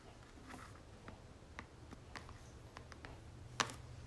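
Long natural nails tap and scratch the flat face of a red and gold soft plastic 236 ml Victoria's Secret lotion tube held upright in one hand. Quiet, light ticks and soft scratches sit over a low steady hum, with one sharper, brighter tap near the end.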